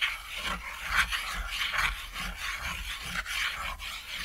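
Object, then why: Chalk on a thin flat chalkboard. White chalk is scribbled and scratched across a small, flat, thin solid chalkboard shaped like a cat silhouette, lying on red fabric. It makes continuous bright, scratchy rasping strokes that rise and fall in quick bursts, with a faint low rumble underneath.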